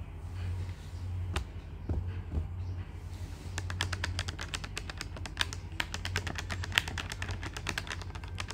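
Fingertips of both hands tap the plastic keys of a black plastic desktop calculator with a hollow body. After a few scattered taps, a quick run of sharp, bright clicks follows over a steady low hum, with a faint trace of speech or music.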